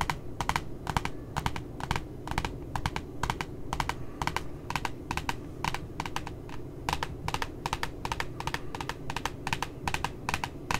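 A single long nail taps and scratches the glossy cardboard cover of a cute puppy notebook in close-up. It makes a quick, steady run of sharp, bright clicks that stop almost instantly, over a constant low background rumble.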